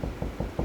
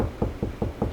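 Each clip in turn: First: solid drywall over a wood stud. Second: hollow drywall between studs.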